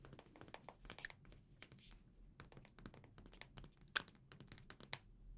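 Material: Glass.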